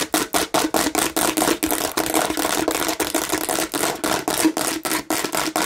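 Long nails scratch aggressively across the red bumpy face of a hand-sized, hollow plastic watermelon-shaped bottle. The result is a fast series of dry, rasping strokes with bright texture, very little low end and a faint hollow tone around 316 Hz. Each stroke cuts off quickly with almost no ring.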